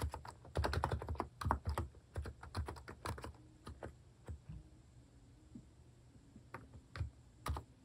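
Fast fingertip typing on a Hanmumu capacitive keyboard with plastic cat-shaped keycaps produces soft, muffled, thocky keystrokes with a low-heavy tone. Keystrokes come in irregular bursts, dense and louder in the first few seconds, sparser in the middle, then a few more taps near the end.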